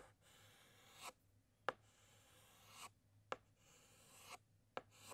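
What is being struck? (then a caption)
Chalk stick on a chalkboard. A white chalk stick writes and outlines letters on a large, flat black chalkboard, producing soft, bright scratching strokes that swell in loudness. Each stroke is followed by one of three sharp, distinct taps as the chalk strikes the board.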